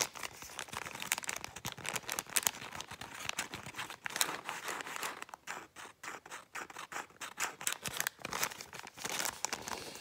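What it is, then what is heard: Paper bag being crumpled. A folded brown kraft paper bag is crumpled and crinkled with fingertips and long painted nails, producing dense, bright, crackling rustles with almost no low end. The crinkling comes in quick overlapping bursts, thinning into sparser, separated crackles around the middle before picking up again.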